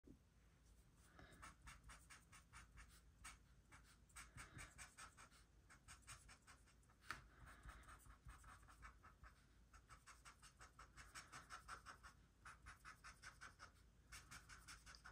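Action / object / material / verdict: scrape / felt-tip marker on a paper sheet / paper / none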